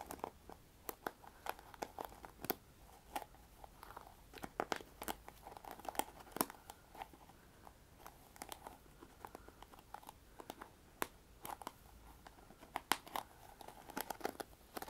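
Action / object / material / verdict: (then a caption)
scrape / plastic paddle hairbrush bristles / plastic / none. Fingertips and long nails pluck and scratch across the black bristles on the cushion pad of a pink plastic paddle hairbrush held upright. The result is a quiet, irregular stream of sharp, bright ticks and short scratchy crackles with a faint midrange tone, each snap dying away almost instantly.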